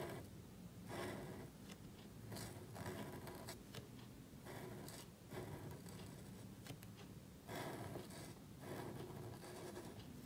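A calligraphy marker nib scratches across a small, thin black cardstock card held flat while writing. Soft, dry scraping strokes come in bright bursts over a quiet, steady low rumble.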